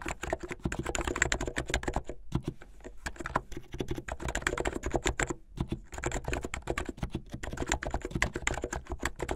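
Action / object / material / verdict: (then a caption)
tap / plastic mechanical keyboard / plastic / none. Fingertips type fast on a plastic mechanical keyboard with white and blue plastic keycaps. Dozens of short, dry clacks with a solid low body come in quick bursts, with brief pauses around the two- and five-and-a-half-second marks.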